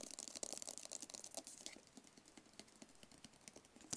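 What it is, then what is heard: Cardboard phone box tapped and scratched. A small, hollow, white rigid paperboard phone box is tapped and scratched with fingertips and nails. Quick, dry clicks and papery scratching sound mostly bright, with almost no low end and no ring. The tapping is busiest and loudest in the first half, then turns softer and sparser before one sharper tap at the end.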